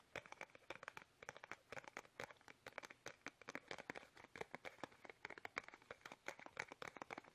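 Fingertips tap fast on a small, soft, hollow, squeezable plastic toothpaste tube held upright in both hands. The result is a rapid, steady run of many short, dry, bright taps with a light crinkly edge, centred around 2.2 kHz. Each tap dies away almost instantly, with almost no low end.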